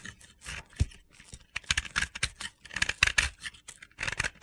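The remaining pink-yellow chunk of a pressed-powder bath bomb ball, held in the hand, is shaved with a utility-knife blade. A quick series of dry, gritty scraping and crunching strokes sounds bright and hissy, centered around 2.6 kHz, with almost no ring. Crumbly powder falls away.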